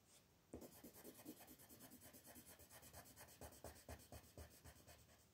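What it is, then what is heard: Colored pencil rubbing on paper. An orange wooden colored pencil is rubbed back and forth across a flat white paper mandala coloring sheet, held by fingertips, to fill in the petals. The quiet, scratchy strokes repeat at about two per second with a dry, papery rasp and bright hiss. Some strokes land more firmly, adding a soft low thump.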